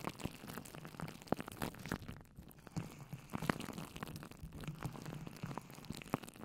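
Fingertips with long nails dig into and squish soft, water-filled colorful hydrogel water beads in a clear plastic bowl set on top of a microphone. The result is a steady, quiet stream of wet squelches, small crackles and sharp clicky pops over a low, murky body. A few louder snaps stand out along the way.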